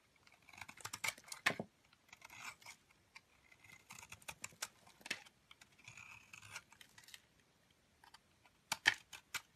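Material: Soap.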